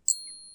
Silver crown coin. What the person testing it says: genuine silver um certainly pure silver and to a large extent sterling silver has a really nice long high-pitched ding to it